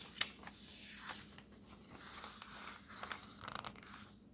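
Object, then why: Paper road atlas pages. Fingers turn the thin paper pages of an open paper road atlas, sliding each page between them. A sharp, crisp snap opens the clip, followed by soft, airy rustling and brief, bright crinkles as the pages move.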